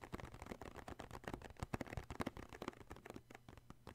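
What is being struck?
Cardboard tissue box.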